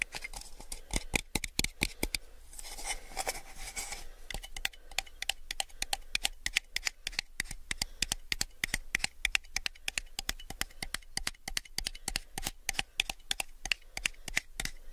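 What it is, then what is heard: Clear plastic cup tapped. A small, empty, clear hollow plastic cup is held sideways and tapped with fingertips and nails in a fast, uneven stream of sharp, bright clicks. Each tap stops almost instantly, with a brief softer, scratchy stretch early on before the dense tapping resumes.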